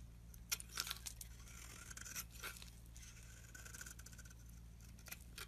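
A metal blade scrapes shavings off a solid oval green bar of soap held in the hand. Quiet, irregular bursts of dry, bright scraping and crumbling come through over a steady low hum.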